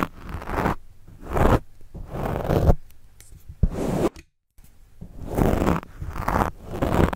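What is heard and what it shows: A plastic pen tip scratches and writes across a black foam windscreen on a microphone. The result is a series of close, muffled scratching and rustling strokes, heavy in low rumble, with short pauses between them and a brief moment of full silence midway.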